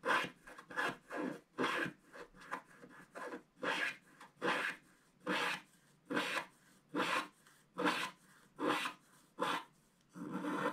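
A wooden stylus scratches across the owl's belly area on a flat black-coated scratch-art card. About 17 short, dry, broadband scratching strokes come at an uneven rhythm, each a rasping burst with bright upper content and almost no low end. The final stroke is drawn out longer.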